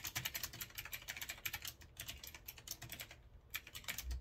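Fingertips type fast on a retro typewriter-style mechanical keyboard with a metal frame and round keycaps. The result is a dense run of sharp, bright key clicks with very short decay and a light low thump under each press, with a brief lull just past the three-second mark before the clicking picks back up.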